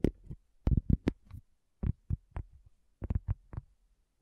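A round, flat, solid cork coaster is tapped with long fingernails and fingertips. The taps come in quick irregular clusters separated by short silences. Each gives a dull, low, short thud with almost no ring, and a few carry a brief brighter click on top.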